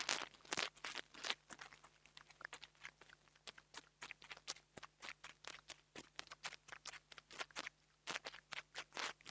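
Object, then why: Small microphone with metal mesh grille. A metal nail tool tip taps and scratches the metal grille of a small black plastic $2 mini lavalier microphone, making dozens of quick, dry, bright clicks and scratchy bursts in an irregular rhythm. Each hit dies away almost instantly over a quiet background with a faint steady low hum.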